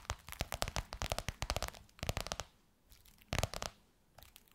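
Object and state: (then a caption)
Faux leather covered box. Long fingernails on both hands tap and scratch the gold crocodile-embossed faux leather surface of a flat box or book. Quick, crisp clicking taps come in dense bursts with brief quiet gaps, mixed with a dry scratchy texture.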